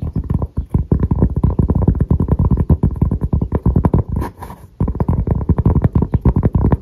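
Fingertips and short nails tap and scratch the face and edge of a round, thin, solid cork coaster, held flat and then upright. Dozens of rapid, dull, low thuds run almost continuously with little ring. They pause briefly just past the middle for a softer, hissy scratching stretch before the quick tapping resumes.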